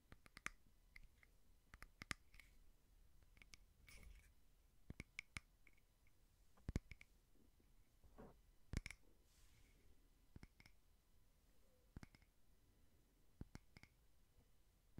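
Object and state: Frosted glass candle holder.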